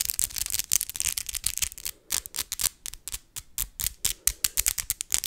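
Long Christmas acrylic fake nails are tapped straight against each other, nail on nail, close to the microphone. The result is a rapid, irregular series of sharp, bright plastic clicks, mostly high-frequency, with no ringing after each tap.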